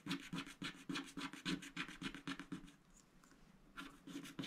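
A wooden stylus scratches the flamingo motif on a coated scratch-art paper sticker sheet lying on a mat. It makes a quick series of dry, rasping strokes with bright hiss and a low papery body, pauses for about a second, then resumes.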